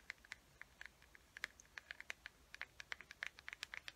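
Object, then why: Small plastic carrying case. Long nails tap and scratch the smooth surface of a small, hollow teal plastic carrying case with a gold chain, held closed. There are 28 quick, dry clicks with almost no ring, each sharp tick centered near 1.7 kHz with bright edges. Faint scratching fills the spaces between them.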